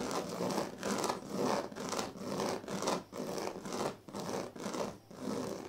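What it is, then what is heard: Woven reed sleeping mat. Fingertips and nails of both hands rub and scratch across the surface of a large, flat woven sleeping mat made of thin dyed reed strands, with a plastic comb lying still nearby. The result is a steady series of dry, rasping scratch strokes, about two per second, each a broadband bright hiss that stops quickly with little ring between strokes.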